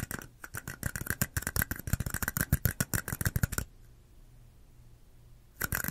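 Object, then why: Small plastic cups. Long acrylic nails rapidly tap and scratch two small, identical, hollow, empty red plastic cups held sideways in both hands beside the mic, making a quick run of sharp, hollow, low-heavy clicks with bright edges. The tapping stops for about two seconds of near silence, then a dense burst of scratchy tapping starts again at the end.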